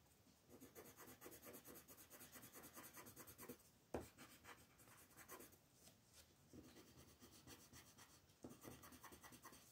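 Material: Paper.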